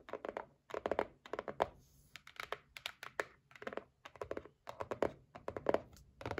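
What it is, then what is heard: Cardboard gift box. Long nails tap and scratch along the top edge of a white cardboard gift box resting on a table. Quick clusters of dry, papery clicks and scrapes come in bursts separated by short pauses. The sound is quiet and close, with little low end and no ring after each tap.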